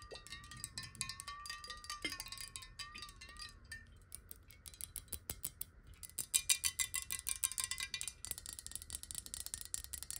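Long nails rapidly tap a clear square glass bottle of water held sideways. The quick, uneven, bright clicks come with a faint glassy ring whose pitch slowly wavers as the water shifts. The tapping grows denser and louder toward the end.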